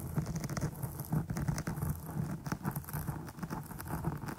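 Long nail tips scratch and poke the top surface of a dark foam microphone windscreen. The result is a steady, dense, muffled patter of soft scraping taps, heavy in the low end with little brightness. Each tap dies away quickly.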